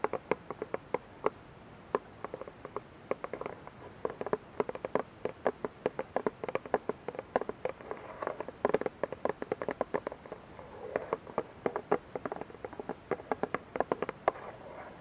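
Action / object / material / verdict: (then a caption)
tap / plastic dish soap bottle / plastic / none. Long nails tap and scratch the sides of a clear, labeled plastic dish soap bottle that is partly filled with liquid and held in both hands. Dense runs of quick, crisp plastic ticks mix with soft scratchy rustling, mostly in the mid range with little low end. Each click dies away almost instantly.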